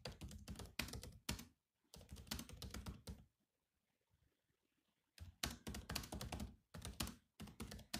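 Fingertips type on the black plastic keys of a grey laptop keyboard, with some heavier key strikes mixed in. Bursts of quick, clicky thunks with a low body and bright tops run for about three seconds and break into a near-silent pause. The typing then resumes in several more dense bursts to the end.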